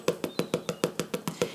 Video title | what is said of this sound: What a Soda Bread! | if you lift it up and you tap it if you have nails you can hear it's nice and hollow